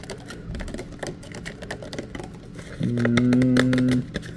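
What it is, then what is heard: Paper photograph. A small, thin, flat printed photograph held in both hands close up is tapped and scratched across its surface with fingertips and nails, making a run of soft, quick crackling taps and scrapes. Near the end, a louder, steady low humming tone rises in for about a second, then drops back to the quiet taps.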